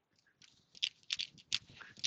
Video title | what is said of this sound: Tackle Fridays #9 | when you really flick it to throw it, you can hear it click just before you throw